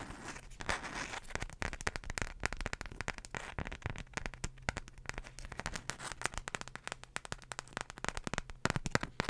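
A single floral beeswax wrap, a flat folded sheet of wax-coated cotton, is held close to the microphone and flexed and crinkled with fingertips and long nails. Dense, rapid, sharp crackles and clicks with bright edges continue throughout over a steady low hum.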